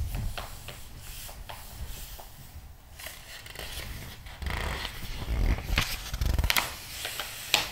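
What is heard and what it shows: Flat palms and fingertips rub and smooth across the pages of a large, open glossy paper magazine lying flat on a table, then turn one page. Soft, papery swishing and brushing give way to louder, brighter crinkling and rustling toward the end, with a sharp papery snap as the page turns.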